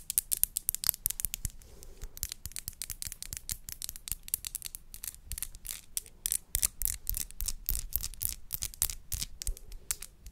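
Long nails tap and scratch along a tall, narrow, hollow clear glass bud vase with a dark base that appears empty. The result is a quick, uneven run of bright, sharp clicks and scraping strokes that die away almost instantly over a soft low rumble.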